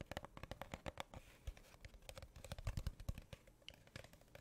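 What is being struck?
Cardboard tube.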